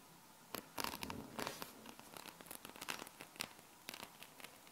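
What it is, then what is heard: Metal magnetic balls. Long painted nails scratch and press across a palm-sized sheet of small solid metal magnet balls held in the hands. The result is a quiet, bright, dry run of tiny clicks and rattling scrapes, each one stopping almost instantly, with little low end.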